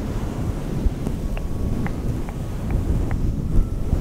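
Both hands with long painted nails scratch and rub a fluffy grey-green synthetic fur windscreen, soft and hollow, fitted over a microphone. The result is a steady, muffled, low rumbling rustle, like wind buffeting the mic, with a few faint, brief ticks on top.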